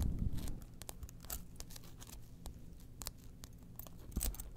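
Long nails scratch and tap the orange interior and the ID window of an opened small orange faux leather wallet. Dry, scratchy rustling runs throughout, broken by brief bright ticks and taps that stop dead, over a steady low hum, with a fuller, louder patch at the start and again near the end.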